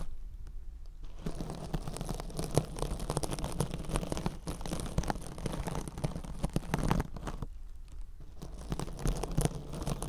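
A rectangular kitchen scrub sponge wrapped in silver metallic-fibre mesh, soft and compressible, is held against the ear of a binaural microphone and scratched with long orange acrylic nails. After a quiet first second, dense crackling, crinkly scratching runs with a low rumbly body, pausing briefly around seven seconds before resuming.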